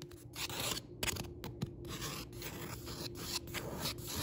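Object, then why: Paperback book, paper page. Several fingertips tap and scratch the printed paper page, a Target Book Club Pick insert, of a paperback book lying open on a wooden table, over its solid stack of paper pages. Dry, papery scratching and rubbing runs throughout, broken by soft, muted taps that die away almost instantly.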